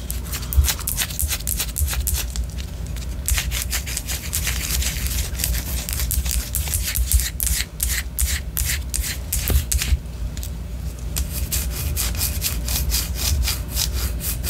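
Long orange nails scratch the side of a white solid wax pillar candle in quick, repeated strokes. The result is a steady stream of dry, bright, crackly scraping bursts over a low, constant rumble.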